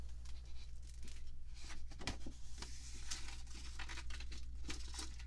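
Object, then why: Glossy paper magazine pages. Long manicured nails and fingertips rub and scratch the thin glossy paper pages of an open fashion magazine lying on a table, and lift pages to turn them. Bright, crisp scratches and papery crinkling rustles come in quick bursts over a steady low hum.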